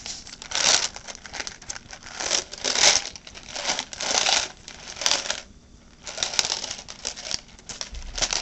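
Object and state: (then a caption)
Plastic clamshell berry container. A clear, thin plastic clamshell box full of blueberries, with a paper label, is held in the hands, tapped and scratched with long painted nails, and turned over. The result is bright, crinkly clicking and scratching that swells and fades in repeated bursts, with a brief quiet pause just before the six-second mark.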